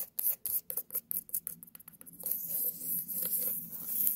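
Long nails tap and scratch a small white pumpkin held close up, starting with about a dozen quick, separate taps with crisp, bright attacks. After about two seconds, it turns into a steady, bright, hissing scratch across the surface until the end.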